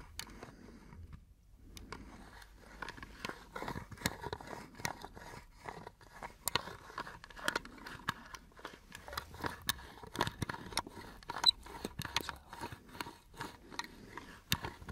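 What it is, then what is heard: Wooden box tapped and scratched. An elongated brown wooden box with metal hinges, open and empty, is held up and tapped and scratched with fingertips and nails. The result is a quick, irregular series of dry, bright clicks and knocks over soft, brushy scraping, with each tap dying away almost instantly.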